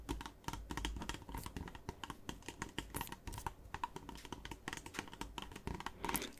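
Fingernails tap quickly on a partly filled clear PET Volvic water bottle with a red cap, held up near the cap. The result is a rapid, dense run of light plastic clicks that sounds like typing on a keyboard, with short bright ticks over a faint low hollow tone.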